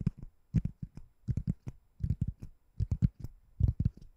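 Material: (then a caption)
Foam. A white ring-shaped foam door stopper, solid foam or rubber in look, is held above a microphone and tapped and scratched with long nails. Soft, dull, low thuds come in uneven clusters, each dying almost at once, with faint scratchy flecks on top and no speech.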